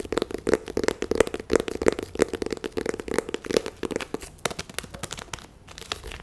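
A small, hollow cardboard box printed in white and red is held in the hands and tapped and scratched with long nails. Quick, dry, crinkly taps and scratches follow each other in an irregular stream, with a hollow tone around 450 Hz and no ring after each hit.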